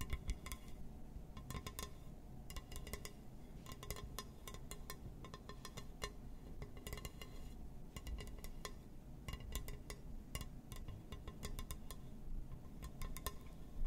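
Fingers tap and scratch across a glass surface, making quick, bright clinking ticks that come in scattered bursts over a steady low rumble. The sharp glassy clicks die away almost instantly and keep going for the whole clip.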